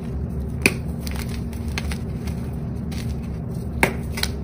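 Fingertips press, crush and rub chunks of purple-dyed gym chalk (magnesium carbonate) into powder beside dark-coated chalk blocks. Faint, dry crunching and crumbling sit over a steady low rumble. Two sharp, bright cracks stand out, followed by a smaller one near the end.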